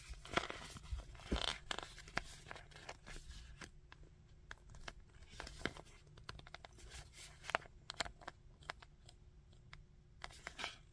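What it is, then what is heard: Plastic action figure. Fingertips tap on the helmet, studded collar and chest of a plastic Magneto action figure held upright. The result is a quick run of short, dry clicks with faint crinkly scraping between them. Each tap dies away almost instantly with no ring.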